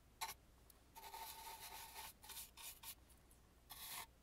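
A dry brush sweeps into the carved crevices along the side of an antique carved, painted wooden mask. Soft, bright rasping strokes come in short bursts and one longer sustained sweep, with quiet pauses between them.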